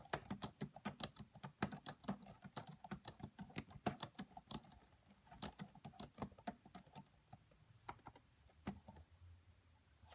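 Long manicured nails and fingertips of both hands rapidly tap the black plastic chiclet keys of a red laptop with a hollow body, producing about 40 quiet, sharp, bright clicks with almost no ring. The typing is dense at first and thins out toward the end.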